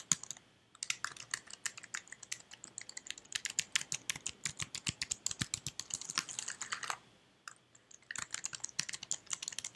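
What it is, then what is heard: Plastic computer keyboard. Fingertips with red nails type on the keys of a white slim plastic computer keyboard, producing dozens of quick, bright, dry clicks that stop almost at once. The typing runs in steady bursts with a short pause near the start and another of about a second toward the end before it resumes.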